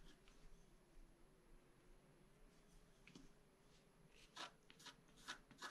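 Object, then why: Black-coated scratch-art paper card scraped with a wooden stylus. A wooden stylus drags long scraping strokes across a flat black-coated scratch-art card. There is a faint, steady papery rasp, then brighter, sharper scratches toward the end, each dying away almost at once.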